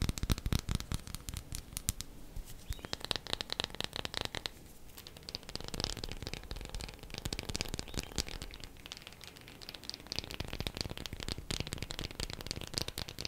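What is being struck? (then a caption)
Bar of soap. A bar of soap is tapped quickly with the fingernails, producing a dense, continuous stream of short, dry clicks. The taps are quiet and crisp, with a bright crackling edge and a soft low thump beneath, and they keep going steadily from start to finish.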